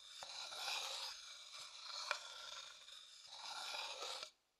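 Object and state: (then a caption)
Wooden bowl scraped and tapped. A thin wooden stick scrapes and taps around the inside of a medium, hollow, empty, light-coloured wooden bowl held in one hand. Bright, rasping scrapes swell and fade in waves, broken by a few sharp, crisp taps. The sound then stops abruptly into silence.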